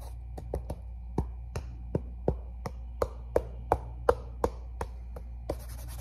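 Fingertips tap an empty red and black athletic sneaker with a fabric mesh upper, black laces and a rubber sole, held up close, and also rub across it. There are 15 short, dull taps at an uneven pace over a steady low hum, ending in a brief soft rubbing hiss.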